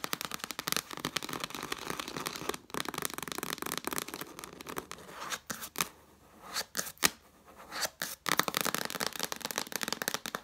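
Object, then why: Cloth-bound hardcover book, cover and page edge. Long nails scratch and tap quickly on the red cloth cover and page edge of a cloth-bound hardcover book lying flat. The result is a dense, bright stream of dry scratches and short clicks that thins to a few sparse taps near the middle before the fast scratching resumes.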